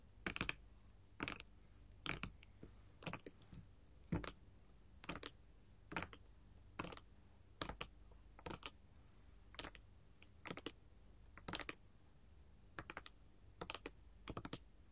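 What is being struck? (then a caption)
Glass mosaic tile sheet tapped with metal finger claws. The tips of long gold metal filigree finger claws tap a flat sheet of colored glass mosaic tiles, producing quick bursts of sharp, bright clicks at a steady rate of roughly one burst per second. Each tap is dry and dies away almost at once, with a faint low hum in the quiet between the bursts.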